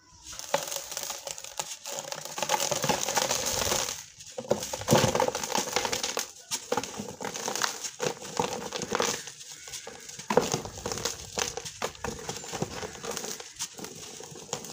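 A large, dry, crumbly chunk of sand cement is held in both hands over a blue plastic tub with some water in it. Fingertips rub and crumble it in a steady run of gritty crackling and crunching. Grit patters into the tub below.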